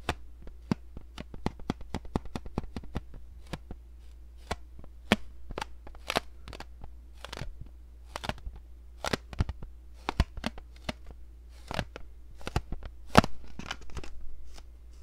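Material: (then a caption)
Plastic. A hollow, palm-sized blue hard-plastic egg-shaped case is tapped and scratched with long nails. Many short, sharp clicks and taps ring out, with brief bright scratching in between, over a low steady hum.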